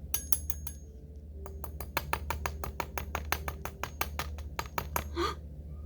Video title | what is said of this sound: Ms. Bernadette teaches with sand | that sounds hard see how it makes that sound